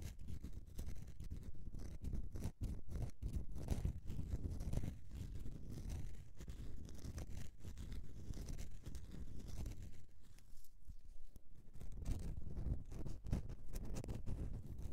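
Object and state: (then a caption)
Bar of soap scratched with nails. Long nails scratch the textured top of a solid bar of soap resting on a mesh mat. The result is a steady, dense, rough scratching that stays low and muffled, with quick short strokes that barely ring out.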